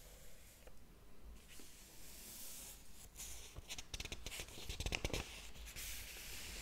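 Fingertips lift and flip the paper pages of a large, thick hardcover book lying open on a table while the other hand holds the page block. Soft, airy rustling and brushing builds into a run of quick, crisp page flicks with bright papery edges in the second half.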